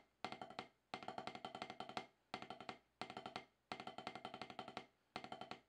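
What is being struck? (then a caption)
Rubber drum practice pad struck with wooden sticks. Wooden drumsticks tap an octagonal HQ snare practice pad with a solid, dark rubber surface, in six quick bursts of rapid strokes. Each stroke is a short, dry knock with a mid-pitched tone around 750 Hz and a slightly bright click, dying away almost at once.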